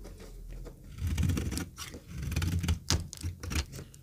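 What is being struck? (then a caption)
Soap bar scraped with a metal knife. A metal knife scrapes and cuts thin, crumbly flakes off a rectangular, solid, very dry yellow retro soap bar held in the hand. The result is a series of low, dull scraping strokes with rough bursts and bright, crackly snaps as the flakes break away.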